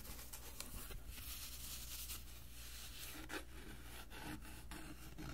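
Fingertips and short nails rub and scratch across the textured surface of a flat, dark brown, cloth-covered hardboard cover from an old band music book, about hand-sized and solid, held in both hands. A quiet, continuous, bright rasping scrape runs throughout, with a few brief scratchy accents over a steady low hum.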